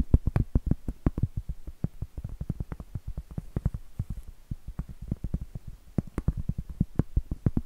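Acrylic nails tap and scratch the face of a round, solid cork trivet. The result is a quick, uneven run of dozens of dull, low thuds with a soft scratchy edge, each dying away almost instantly with no ring.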